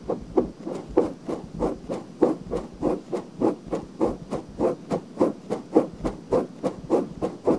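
Long nails scratch a pale pink silicone binaural microphone ear in a steady back-and-forth rhythm. Each of about 23 soft, rasping strokes has a muffled midrange body with faint bright hiss on top, and they come roughly 100 times a minute.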